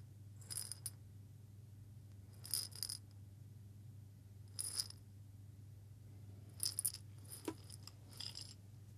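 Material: Glass.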